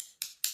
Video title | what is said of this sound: ✨💫⭐watch me do acrylic nails on my silicone hand ⭐💫✨ | You want to hear that sound when you tap it. That is dry.